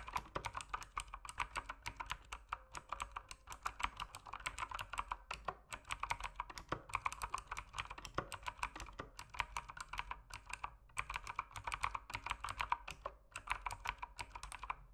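A mechanical keyboard with plastic keycaps is typed on with fingertips in a steady, rapid stream. Each keystroke gives a short, crisp click centered around 1 kHz with a bright edge, the clicks running close together with brief pauses between bursts.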